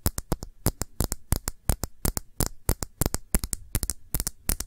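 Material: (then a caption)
Glass. Fingertips and nails tap quickly on the side of a small glass perfume bottle that holds blue liquid and has a printed label. About 29 short, dry taps are heard, each a bright click over a soft low thump. The taps die away almost instantly with no lingering ring.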